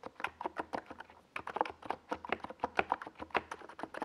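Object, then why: Plastic mechanical keyboard. Both hands type with their fingertips on a NiZ Plum Atom 68, a compact 68-key mechanical keyboard with a hollow white plastic case and purple and yellow Domikey Gas Attack plastic SA keycaps, resting on a desk pad. A steady run of quick keystrokes produces short, dry clacks centered in the mid range around 770 Hz, each dying away almost instantly.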